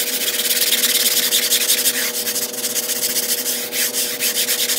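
A long-handled black push broom scrubs back and forth across a mostly dry, gray patterned low-pile flat-weave carpet rug on a tile floor while a hand holds the rug's edge, sped up as a time-lapse. Rapid, fairly steady bristle strokes make a bright, hissing scrub with almost no low end, over a faint steady hum in the background.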